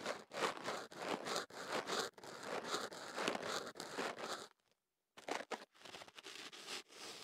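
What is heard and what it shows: A tube of kenaf paper is wrapped around a microphone and held steady while fingertips and a small pick rub, scratch and crinkle at its open end. Close, papery crackling and scraping come in bursts with a bright, hissy top. The sound stops briefly near the end before the crinkling resumes.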